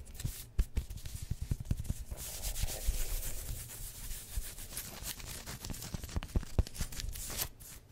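Long nails rub and scratch across the chest and shoulders of a worn black pinstriped polyester sports jersey with a yellow collar and printed badges, made of thin synthetic fabric. A steady, sanding-like rubbing hiss runs throughout, broken by many short, sharp scratches and soft thumps.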